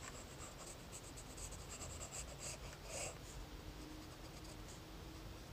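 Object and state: Pencil sketching on lined notebook paper.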